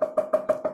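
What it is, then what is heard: Chambered guitar body, hollow cavity. Knuckle knocks underneath the cutaway of a vintage Les Paul wooden guitar body give five short hollow knocks, each ringing with a clear tone around 625 Hz. The resonance reveals a chamber, a hollow cavity, inside the otherwise solid body.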